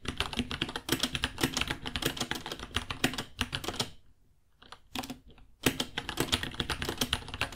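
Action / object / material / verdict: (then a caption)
tap / plastic mechanical keyboard / plastic / none. Fingertips type on a white 66-key mechanical keyboard, about 30 cm long, with plastic keycaps, Gateron Brown switches and a hollow case. Rapid, bright clacking keystrokes run steadily for about four seconds, then fall quiet except for a few short bursts. Steady typing resumes at around 5.6 seconds and continues to the end.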